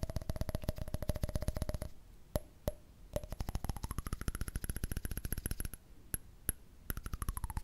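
Fingers tap rapidly on a candle lid, producing dull, low knocks with a faint ringing tone. After a brief pause broken by a few single taps, the tapping resumes and the ringing tone glides upward, holds, then slides back down. Covering the lid with a hand changes its pitch.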